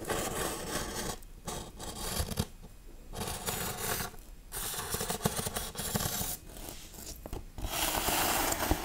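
Long nails scratch and tap the textured raised RIP letters and cross on a large foam Halloween tombstone prop. Bursts of dry, bright scraping alternate with short pauses and light taps, and a sustained hissing scratch closes the clip.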